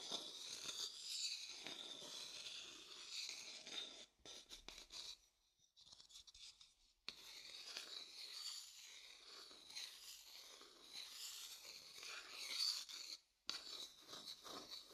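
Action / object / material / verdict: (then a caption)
scrape / wooden bowl and wooden stick / wood / none. A thin wooden stick rubs and scrapes across the surface of a pale, hollow wooden bowl set beside the mic. The result is a soft, bright, hissy scratching with almost no low end, running steadily except for brief quiet gaps near the middle and toward the end.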